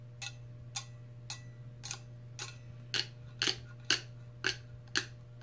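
Long red acrylic nails tap the top of the clear plastic lid on a large insulated stainless steel tumbler standing on a placemat, with the sound coming from the lid rather than the metal body. Eleven short, bright clicks land at a loose, uneven pace, growing louder in the second half over a steady low hum.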